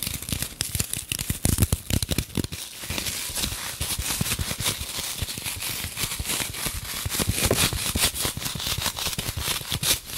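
Long nails tap and scratch a light, solid green floral foam brick, partly wrapped in clear plastic film and held in both hands. Dense, rapid clicks and scratchy crackles sound through the whole clip, each dying away almost instantly, with bright high hiss over soft low thumps.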